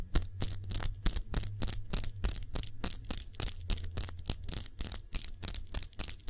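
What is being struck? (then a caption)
Small glass perfume bottle. Long nails tap quickly and unevenly on a small glass perfume bottle cupped in both hands, producing a rapid series of short, bright clicks that stop almost instantly. A steady low hum sits underneath the taps throughout.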